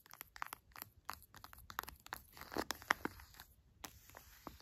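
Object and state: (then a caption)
Full plastic honey pouch. A full orange plastic pouch of honey is pressed and rubbed by fingers while long nails tap and scratch the plastic. Quick, dry crinkling clicks and scratches come in uneven bursts with short pauses between them, with a bright edge and almost no low end.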